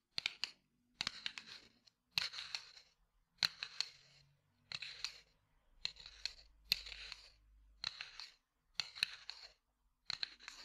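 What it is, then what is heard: Cardboard matchbox. A small cardboard matchbox, held in the hand, is tapped and scratched with the fingertips. Ten short bursts of crisp, dry, high-pitched tapping and scratching are heard, separated by brief silences. The sound is quiet, with no low thud or lingering ring.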